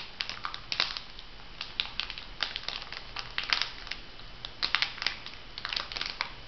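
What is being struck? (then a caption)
Filled foil sachet. A filled, flat printed foil sheet-mask packet is bent and crinkled by hands. The result is dense, bright crinkling with sharp, crackly bursts over a soft hiss, and the sounds cut off quickly with almost no ring.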